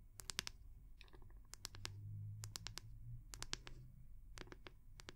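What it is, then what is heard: Wooden hair brush. Long nails tap and scratch the round, solid wooden back of a hair brush held in both hands. Sharp, bright clicks come in quick irregular clusters, with softer scraping between them. A low, steady hum runs underneath at a quiet level.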